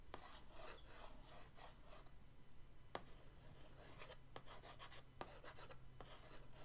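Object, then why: Cardboard paint-set box lid scratched with a brush handle. The end of an orange paintbrush scratches patterns across the lid of a flat, printed cardboard paint-set box. Quiet bursts of dry, rasping scrapes with a bright hiss come and go over a steady low hum, punctuated by a few sharp little ticks.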